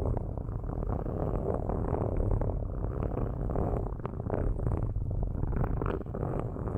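Metal ball-tipped sticks scratch across the metal grilles of two cylindrical microphones, shown in close-up alongside long nails. The result is a steady, dense, low rumbling rasp with quick gritty strokes and almost nothing in the high range.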